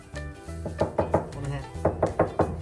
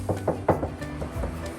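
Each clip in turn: First: resonant sheet-metal car trunk panel. Second: non-resonant car trunk panel.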